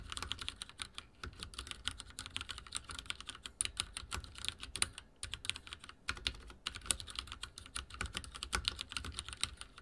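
Fingertips type steadily on a backlit mechanical keyboard with dark plastic keycaps. The result is a fast, continuous stream of short, bright clacks with a soft low thud beneath each keystroke, broken by brief pauses around the middle.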